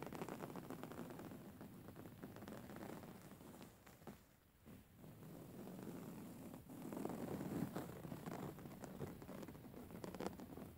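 Fingernails scratch and tap across the weave of a soft, filled grey woven-fabric pillow, making a steady, dense, low rustling patter. The sound dips briefly near the middle, then returns slightly louder with fuller scratching toward the end.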